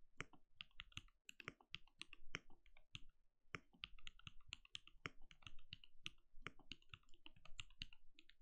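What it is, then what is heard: Plastic mechanical keyboard. A compact backlit mechanical keyboard with plastic keycaps and a translucent glowing case is typed on rapidly with the fingertips of both hands. Quick, dry key clicks and taps follow one another with a low thock under a bright click and almost no ring.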